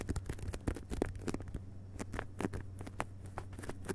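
Fingertips of both hands rapidly tap the cover of a solid hardcover book with a glossy paper dust jacket, lying flat on carpet. Soft, dull, papery taps come in an uneven patter with no ring. A steady low hum runs underneath.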